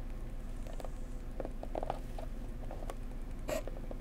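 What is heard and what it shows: Long painted nails tap a flat, blue, flower-printed cardboard gift box for a bone china mug, held in both hands, closed and hollow. Soft, light, hollow taps and pats with a slightly papery click are scattered irregularly over a steady low background, each dying away quickly.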